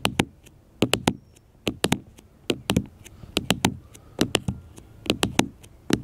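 Fingertips and nails tap repeatedly on a small black smartphone with a glass screen and plastic case, lying flat on a metal mesh picnic table. About 22 sharp, dry taps land in quick clusters of two to four, each a bright click with a low knock underneath. They stop almost instantly, with no ring.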